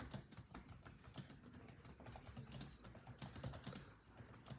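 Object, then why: Plastic laptop keyboard. Fingertips of both hands type rapidly on the built-in keyboard of a grey laptop with dark plastic chiclet keys. A dense, steady stream of quick, soft key taps mixes a low, thuddy body with bright clicky edges, each tap dying away almost at once.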